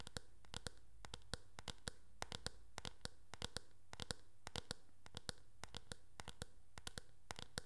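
Long nails tap and scratch across the back of a teal, hard plastic oval hairbrush. Quick, irregular, bright clicking taps ring out over a faint scratching texture and a steady low hum. The taps keep up throughout the clip.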